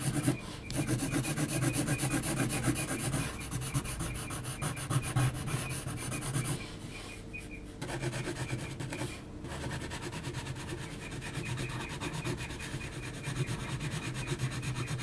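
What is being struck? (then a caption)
Graphite pencil on heavy textured paper. An HB graphite pencil is rubbed and scratched across a large flat sheet of heavy textured mixed-media paper while shading. The result is a steady, dense scratchy rasp of quick back-and-forth strokes, mostly low and papery with some bright hiss, softening briefly midway before picking up again.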